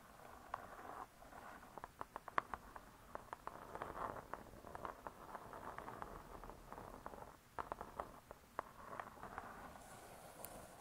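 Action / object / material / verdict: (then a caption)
tap / cardboard cover of a spiral-bound cookbook / cardboard / none. Long pointed nails scratch and tap on the hard cardboard front cover of a spiral-bound cookbook, *Vegetarian Cookery*. Soft, steady scratching hiss centered around 1 kHz is broken by many sharp, quick clicky taps, all at a low, quiet level.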